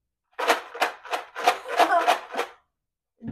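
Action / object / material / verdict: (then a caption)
shake / paper plate shaker with rocks inside / stone, paper / none. A paper plate shaker filled with rocks is shaken in seven quick, rattling bursts over about two seconds, followed by a brief sound at the end. The rattles are bright and gritty and stop sharply, louder than a matching shaker filled with rice.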